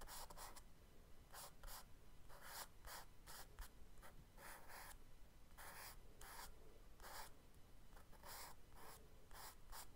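The tip of a charcoal stick makes small scratching marks on a spiral-bound kraft paper sketchbook page lying flat while drawing a scuba diver figure. Short, bright, rasping strokes come in quick bursts with brief pauses between them, over a quiet, steady low hum.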